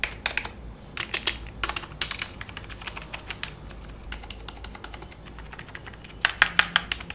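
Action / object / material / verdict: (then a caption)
tap / plastic computer keyboard / plastic / none. Fingertips and short nails type and tap on the keys of a black, full-size plastic computer keyboard lying flat on a lap. The result is a steady, irregular stream of short, bright plastic clicks with almost no ring, over a low background hiss. A cluster of louder, sharper taps comes near the end.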